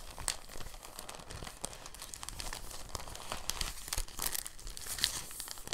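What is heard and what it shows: A thin, translucent, empty plastic bag is rolled and pinched between fingertips, making a steady, soft crinkling. Dense, quick, bright crackles run through the whole clip at a gentle level, with a few slightly sharper snaps standing out.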